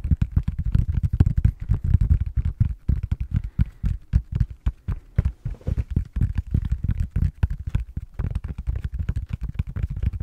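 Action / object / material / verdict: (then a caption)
tap / silicone tablet case back / silicone / none. Fingertips and short nails tap and scratch the back of a blue silicone or rubber tablet case held in both hands. The result is a rapid, continuous stream of soft, dull, low thumps that die away almost instantly, with faint scratchy texture between them.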